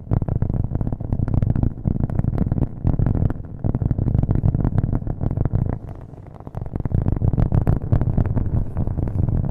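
Fingernails tap fast on a thin, solid, round cork coaster held upright by the microphone, making a dense stream of dull, low, woody thumps with almost no ring. The tapping runs steadily throughout, easing softer for a moment around the six-second mark before picking back up.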